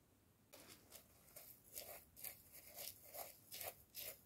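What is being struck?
Plastic jar with ribbed neck, scratched and tapped with wooden chopsticks.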